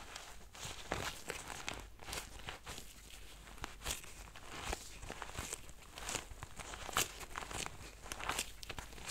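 Nitrile-gloved fingertips rub and press a small, soft-sided lilac faux-leather zippered pencil case. The result is a steady stream of quiet, dry scratchy rubbing and crinkling with bright, brief squeaks and taps. Most of the texture sits in the high range over a faint low rumble.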